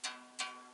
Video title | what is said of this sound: Réviser et mettre à niveau votre harpe électrique anti frelons asiatiques - Harpelec | maintenant ça sonne comme une guitare